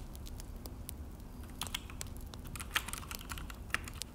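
Both hands type with their fingertips on a full-size Akko mechanical keyboard with an orange plastic case and black plastic HyperX keycaps, resting on a desk. Quick, dry, bright key clicks patter at an uneven pace over a low, steady rumble. A few sharper, louder taps stand out, and each press dies away almost instantly.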